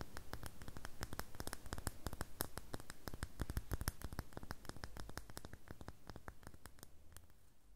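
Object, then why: Bar of soap. Fingertips and nails tap and scratch the top surface of a solid red bar of soap held on an open palm. Quick, irregular dry clicks and scratchy strokes come in a steady patter, each one short with almost no ring and a soft low thud beneath. The sound grows slightly quieter toward the end.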